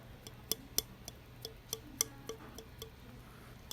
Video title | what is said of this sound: We one to the glaze room | it's brittle like chalk it has no ring to it